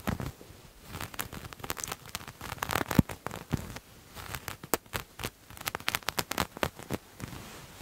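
Grey textured knit fabric, held in one hand, is scratched quickly with the nails of the other. The result is a rapid run of short, dry, crackly scratches with bright edges over a soft low rustle, rising and falling in bursts without any ringing.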